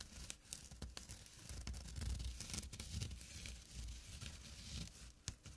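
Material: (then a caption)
Burlap. Short nails scratch the coarse weave of a small, flat burlap drawstring pouch, producing a continuous dry, rough rasping. Quick bright scratchy strokes ride over a soft, low rumble, with no ringing after each stroke.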